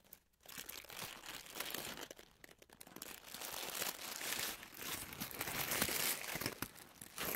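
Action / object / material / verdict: scrape / paper tissue sheet / paper / none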